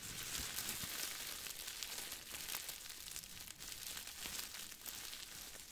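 A small crumpled ball of aluminum foil is squeezed and crinkled with the fingers. It makes a steady, dense, bright crackling and rustling, with occasional sharper crinkles and very little low end.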